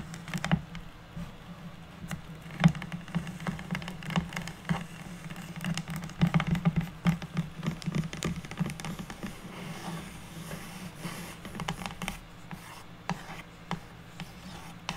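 Two hands tap and scratch with long natural nails across a flat, solid, unfinished pine wood plank about 30 cm long, making quick, dry clicks and soft scraping patter. The sound sits mostly low over a steady low hum, with bright, sharp nail ticks that die away almost instantly.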